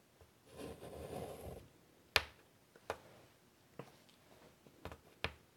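A hand draws with chalk on a large, flat black chalkboard in a light wood frame lying on a table. A soft, scratchy stroke drags across the board for about a second, followed by scattered sharp, bright taps and clicks of the chalk against the surface, with quiet pauses between them.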